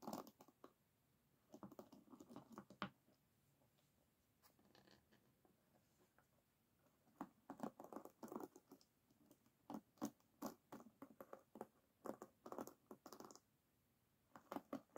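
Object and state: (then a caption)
Wooden hairbrush pins being scratched. Fingertips and long nails scratch across the wooden pins of an oval wooden paddle hairbrush with a black cushion, held flat on a table. The result is quiet, dry, scratchy clicking in short bursts separated by near-silent pauses.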